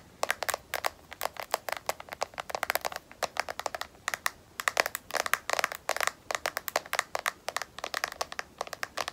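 Long nails tap and scratch on a smartphone in a solid black matte rubberized plastic case, producing a rapid, irregular series of sharp, dry clicks. The clicks are bright, concentrated around 2 kHz with no low end, and die away instantly. Between taps there is a faint scratching texture.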